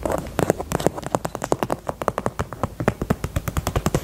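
Long nails tap the side and edge of a small hollow pink faux leather heart-shaped purse in a fast, steady run of about thirty taps. Each tap is a short, dull, hollow knock centered in the low-mids with almost no bright content. The taps stop dead with no ring.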